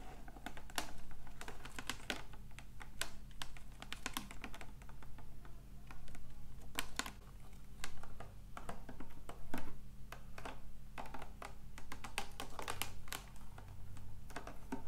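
Long acrylic nails tap and scratch in rapid bursts on the side of a large, clear, labeled plastic water bottle partly filled with water. The result is dense, sharp clicking over a steady low hum.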